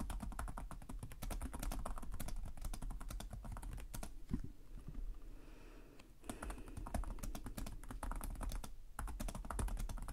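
Both hands type rapidly with short-nailed fingertips on the plastic chiclet keys of a black laptop keyboard resting on a desk. Dense, quick clicks and taps have a low thump underneath and stop briefly around the middle. Bursts of typing fill the start and the end.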